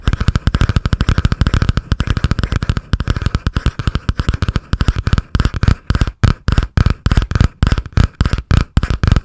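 Long painted nails tap and scratch fast on the cardboard cover of a butterfly-print spiral notebook held above the microphone. A rapid stream of short, dry, deep-thumping taps runs with a faint scratchy rustle over it. The taps grow more spaced and punchier toward the end.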